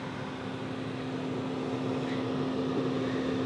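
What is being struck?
Nothing is struck.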